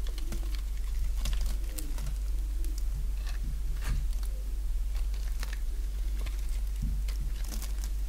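A solid bar of dry pink soap held in the hand is shaved with a box-cutter blade, giving a quick run of crisp scraping and cutting clicks with bright, sharp edges. The strokes sit over a steady low hum.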